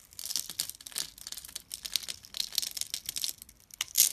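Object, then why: Glycerin soap bar. A thin metal blade scores and scratches a grid into a solid, hand-sized, translucent amber glycerin soap bar held in the fingers, then cuts off small cubes. A rapid series of crisp, bright scraping and crackling strokes with almost no low end sounds close and dry, with the loudest cut near the end.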